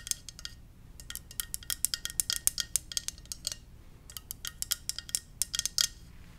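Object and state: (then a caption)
Ceramic mug. Gentle tapping on a ceramic Darth Vader mug produces about thirty quick, bright, high-pitched clinks that stop almost instantly. The taps come in irregular bursts with a brief lull midway, all at a quiet level.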